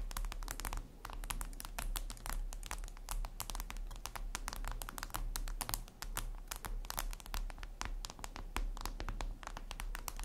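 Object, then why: Glass tablet screen. Long red nails rapidly tap and scratch a flat, glossy black reflective glass surface, likely a tablet screen. The result is a dense stream of sharp, bright clicks and brief scratchy strokes with almost no ring, over a steady low hum.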